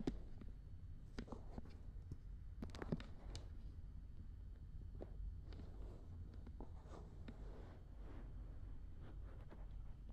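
The soft silicone ear rims of a black binaural dummy head microphone are pinched, rubbed, scratched and cleaned with long red nails and fingertips. Quiet, close-up scraping and rustling is broken by scattered short, bright clicks and scratches over a steady low rumble.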